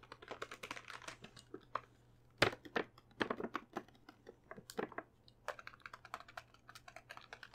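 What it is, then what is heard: Plastic bag of chocolates tapped with fingernails. Long painted nails tap the front and back surfaces of a full, medium plastic bag of Lindor chocolates held in one hand. Quick, crisp clicks come in uneven bursts with short pauses, each tap bright and dry with a faint crinkle of plastic and almost no ring.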